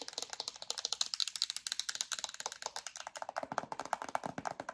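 Long acrylic nails tap rapidly on a yellow plastic hand cream tube and its black plastic cap, giving about three dozen quick, bright, dry clicks with almost no low end. Each tap dies away almost instantly, and toward the end the taps take on a fuller, lower-mid tone.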